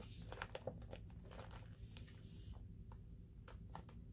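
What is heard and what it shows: Fingertips with nails rub and flip the glossy paper pages of a large open hardcover book. Soft crinkling rustles and brief papery ticks rise over a steady low rumble. Brighter page flicks come early, then fade into quieter scratches.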